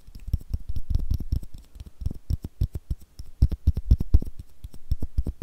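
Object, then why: Small plastic screw cap. Long nails scratch and tap on a small, hollow blue plastic screw cap. The result is a rapid, irregular series of short, dry, muffled taps with a low, thumpy body, interspersed with faint scratchy ticks. Each tap dies away almost instantly.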